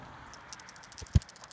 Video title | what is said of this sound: Changing a Subaru Forester PCV Valve and Intake Filter- How To | If I shake it, you can hear it rattle.